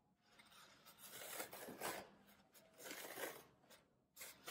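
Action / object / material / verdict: scrape / floral foam block / floral foam / none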